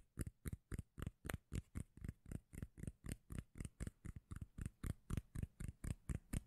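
A solid, palm-sized round cork lid held beside the microphone is tapped and scratched with long nails. Twenty-five quick, soft, deep thuds come in a loosely steady rhythm of about four per second, each with a faint bright scratchy edge and almost no ring.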